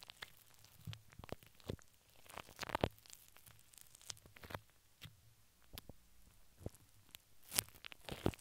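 Long pink acrylic nails from both hands scratch and tap a large, hollow, dome-shaped steel wire-mesh microphone grille, recorded close up. Quiet, scattered sharp ticks and short scratchy rasps reach into bright highs, with a faint low hum underneath. A few louder taps stand out near the middle and the end.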